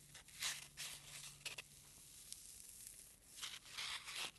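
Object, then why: Foam packing peanut. A single small white solid-foam packing peanut is pinched and squeezed between the thumb and short-nailed fingertips. It gives off about nine quiet, bright, squeaky crackling bursts at uneven intervals over a faint steady low hum.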